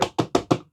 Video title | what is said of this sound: The Perfect Legends Snarl?! | when you hear it bang on the plastic, you can hear the vinyl the vinyl material kind of punching through